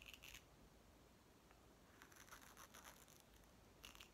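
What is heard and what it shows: A small, hollow green plastic toy watermelon made of two halves is held in both hands while fingertips and nails tap and scratch its surface and work the halves apart. Quiet, bright scratching and tapping come in bursts at the start, through the middle and at the end, with a thin high ring around 2.8 kHz and a near-silent stretch between.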